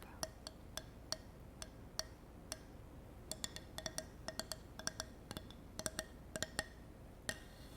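A handmade wooden block, made by a grandfather, is tapped 29 times in an irregular clip-clop rhythm like a horse's hooves. Each tap is a short, dry, bright knock with a hollow tone near 1.8 kHz that dies away almost instantly over a faint steady hiss.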